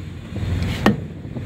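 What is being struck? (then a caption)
Truck trailer rubber tire. A truck trailer's rubber tire is struck with a tire thumper stick during a pre-trip inspection, giving two short, dull thuds. The second strike is the sharper one, with a low body around 200 Hz and almost no ring.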